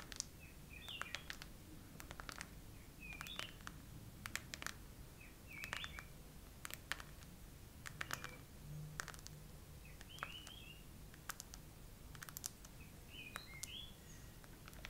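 Long acrylic nails slowly tap and scratch over the raised hollow heart bubbles of a hard chrome-finish plastic phone case, with the phone mounted on a tripod. The result is sharp, quiet, spaced-out clicks and light scrapes over a low background rumble, with faint bird-like chirps in the background.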